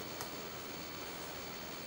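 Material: Nothing is struck.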